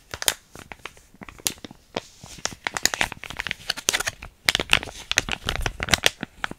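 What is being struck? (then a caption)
Small filled plastic foil sachet. A small, flat, sealed plastic foil hair mask sachet with yellow print, still filled, is scratched and crinkled with long painted nails and fingertips. Dense, bright crackling and crinkling come in quick bursts with short pauses, and each sharp tick dies away almost instantly.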